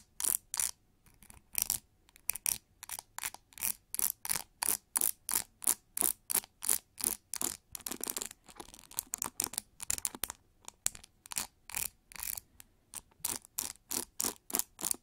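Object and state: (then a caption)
Plastic hair brush bristles. Long nails scratch and flick through the dense pin bristles of a pink plastic hair brush turned bristle side up. The result is a quick, steady run of short, crisp, bright rasping bursts with almost no low end. Each burst stops dead with no ring, separated by brief near-silent gaps.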